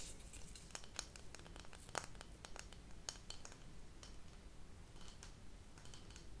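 A flat, round, printed cardboard insert from candle packaging, thin and rigid and held in both hands, is tapped and scratched with long acrylic nails. Quick, dry clicks and short bright scratches come in an irregular run over a quiet, low background hum. Each tap dies away almost at once.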